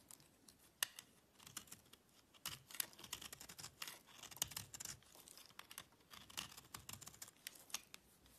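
A solid green oval soap bar is held in the fingers and scraped and cut with a small knife with a gold/yellow handle, and the crumbs scatter onto a dark surface. Quick, bright, crisp scraping and cutting clicks follow one another in irregular bursts, with almost no low end and no ring.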